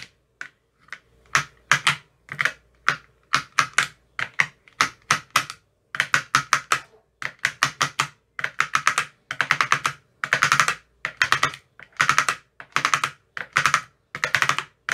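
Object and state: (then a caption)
Plastic ice cube tray with silicone cups. A hand-held metal rod with a white tip taps rapidly across the green silicone cells of an empty clear plastic ice cube tray. The result is quick bursts of short, crisp clicks and ticks, bright and dry with very little low end, separated by brief pauses.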